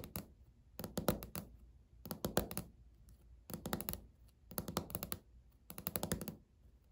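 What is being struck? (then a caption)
Laminate countertop. Natural fingernails of both hands tap in a typing-like pattern on a flat, solid, speckled beige laminate countertop. Short bursts of rapid, dry clicks with a low thud beneath them are separated by brief pauses. Each tap dies away almost at once.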